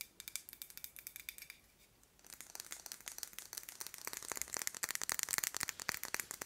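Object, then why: Small metal candle tin. Long nails tap and scratch a small round metal candle tin with a marbled purple finish, filled with wax. Quick, bright clicks come in a steady run at first, pause briefly, then return as a denser, busier patter of taps and scratches with a high, tinny edge.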